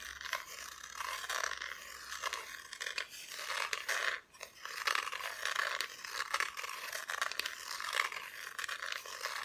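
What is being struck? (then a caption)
Thin plywood cut-out decoration. Long nails scratch the raw wood back of a solid, flat, thin plywood cut-out Christmas decoration showing two figures and a tree. The result is a steady run of dry, bright scraping strokes with quick crackly ticks and no low end, briefly pausing just past the four-second mark before continuing.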